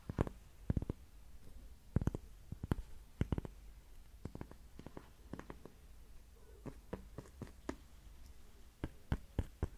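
A thin, flat, solid heart-shaped cork coaster is held in the hands and tapped and scratched with long nails. The result is a steady, quiet run of short, dry, muffled taps scattered over soft, low scratching, with no ring after each tap.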